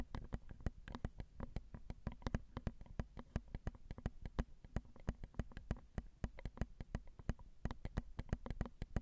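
Long acrylic nails tap rapidly on the small, hollow, crossed silver metal X/Y microphone capsules of a Zoom recorder. Dozens of quick, dry clicks come in a steady flurry, each with a deep, boomy thump underneath and a crisp high tick that dies away almost instantly.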